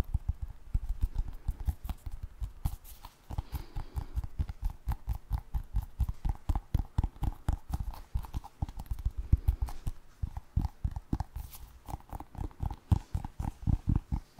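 Fingernails rapidly tap and scratch the surface of a small orange and black basketball-style rubber stress ball. The result is a steady stream of short, dull, low-pitched thuds with a clip-clop-like rhythm, threaded with faint scratching, each tap dying away almost instantly.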